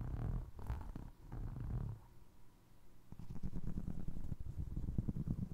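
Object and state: Foam resin clog scratched and tapped.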